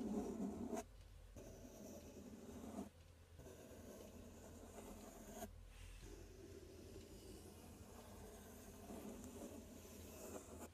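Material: Cardboard.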